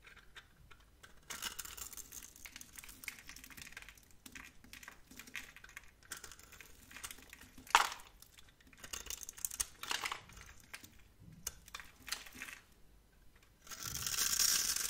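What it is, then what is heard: Soap bar being carved. A metal box-cutter blade scrapes and carves thin strips and cubes off a solid, palm-sized, pale lavender bar of soap held in one hand. Dry, bright, crackly scraping ticks and rustles come in uneven bursts, with one sharp crisp snap near the middle. The clip ends in a louder, steady hissing scrape.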